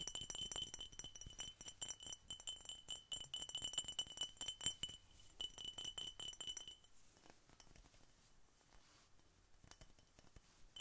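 Fingers tap rapidly and unevenly on a glass Coca-Cola bottle, making bright, short clinks with a faint ring near 3 kHz. The taps are louder for the first seven seconds, then continue more softly to the end.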